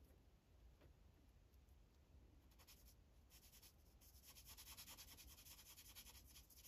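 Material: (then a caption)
Paper. A green Sharpie felt tip rubs across a thin white coloring page on a plastic clipboard while coloring. Quiet, bright scratchy strokes come in quick, uneven bursts over a low steady hum. They grow denser and a little louder in the second half.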